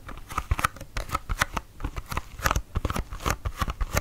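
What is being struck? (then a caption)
Small cardboard box. A small, hollow pink cardboard serum box is held up and tapped and scratched with fingertips and nails along its flat sides. A quick, uneven run of short, dry taps with a faint hollow tone around 1.3 kHz mixes with soft, bright scratching between them. Each tap dies away almost instantly.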